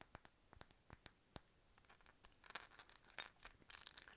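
A hollow, empty, faceted clear glass decorative bottle with a bird stopper is tapped and scratched with long nails. A string of sharp, bright, high-pitched glass clicks with almost no ring comes first, then thickens into quick, denser tapping and scratchy clinking toward the end, all quiet and with almost no low end.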